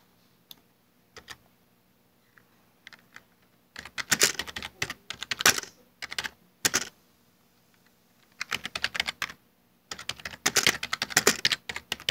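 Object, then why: Plastic computer keyboard. Fingertips type on a full-size black plastic Dell desktop keyboard with hollow keycaps, starting with a few slow, isolated ticking key presses before breaking into rapid bursts of typing. The clicks are short, dry and bright, with almost no low end, and they come in clustered runs separated by brief pauses.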